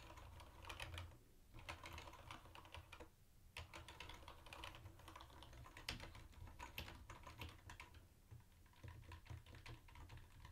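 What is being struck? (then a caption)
Plastic typewriter-style keyboard with round keycaps. Fingertips type fast on a mint-green plastic typewriter-style keyboard with round white plastic keycaps and a hollow body. A steady stream of quick, bright plastic clicks rides over a low, hollow thump, with brief pauses near 1.3 and 3 seconds before the rapid typing resumes.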